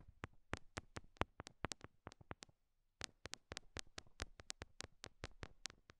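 Long nails tap small solid pink rhinestone-covered heart stickers stuck on silicone binaural mic ears. Quiet, crisp, bright clicks with almost no ring come in an uneven run of about 29 taps, with a brief pause just before the three-second mark.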